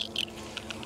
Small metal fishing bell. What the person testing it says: しばらく水に浸かっているが、まだ少しガタガタと音がする